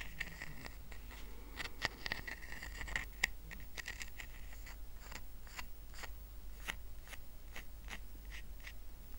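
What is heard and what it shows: Fingernails scratch the woven surface of a small, round, flat rattan coaster resting on a blanket. The result is a series of quick, dry, brittle scratches with a bright rasp near 2 kHz over a steady low background hum.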